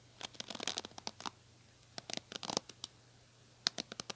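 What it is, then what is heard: Plastic hairbrush bristles scratched. Long nails scratch the bristles of a small pink plastic hairbrush with a black cushion, held in the hand. About eighteen quick, crisp, high-pitched scratchy clicks come in uneven clusters with short pauses between them. Each one is dry and stops almost at once, with no ring.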